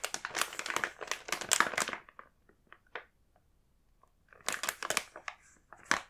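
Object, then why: Plastic film snack bag. A sealed, full blue plastic film snack bag is handled and turned over by hand, and the film crinkles under the fingers in bright, crackly bursts. A dense run of crinkling fades into a few sparse ticks and soft rustles, then another burst of crinkling follows.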